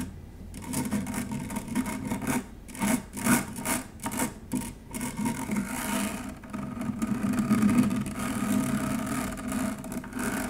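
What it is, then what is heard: Stainless steel mesh strainer. An upturned stainless steel wire-mesh strainer is scratched with long nails, producing a continuous raspy, rubbing scrape with a steady metallic tone around 250 Hz. Brighter, louder scratching strokes come in bursts, with short pauses between them, over a constant bed of gritty friction noise.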